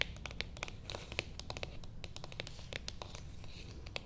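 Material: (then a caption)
Cardboard. Long painted nails tap and scratch the lid of a small, flat, closed, hollow beige cardboard box with printed text, lying on a table, while the other hand moves nearby. Quick, bright, dry clicks with no ring sound over a soft low rumble, mixed with crinkly scratching across the lid.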